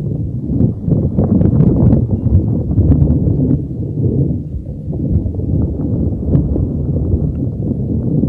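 A neon green soft rubber spiky puffer ball is held over a microphone and rubbed and squeezed with the fingers. The result is a continuous, muffled, low rumbling and thumping with soft crackly scuffs, with almost all energy in the deep lows and nothing bright.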